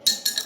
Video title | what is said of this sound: Pengenalan alat kalighrafi dan tutorial raut pena | semakin nyaring suaranya itu tandanya berarti kadar airnya rendah